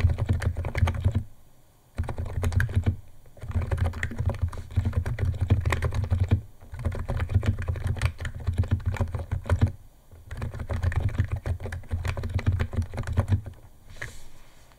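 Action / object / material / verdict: tap / plastic keyboard keys and case / plastic / none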